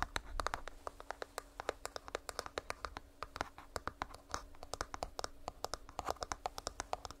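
A small hollow purple plastic earbuds charging case is held close to the microphone and scratched and tapped with long nails. A rapid, uneven stream of sharp, dry clicks and scratches sounds with almost no ring, over a faint steady hum.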